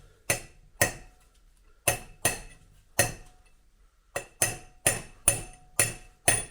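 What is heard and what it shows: A new steel front wheel bearing outer race on a 1971 VW Beetle is tapped gently into the hub with a hammer, using the old race as a drift. Eleven sharp metallic taps ring bright and high, spaced unevenly, with the later ones coming faster. The tone of the taps changes once the race is fully seated, showing that side is done.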